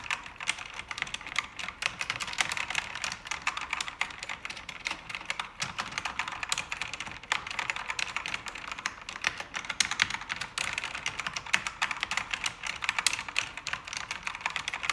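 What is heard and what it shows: Fast typing with fingertips and long red-painted nails on a full-size, pink-backlit mechanical keyboard with plastic keycaps on an aluminum panel. Dense streams of short, bright plastic clicks and clacks run nonstop with almost no ring, sitting mostly in the high range with little low end.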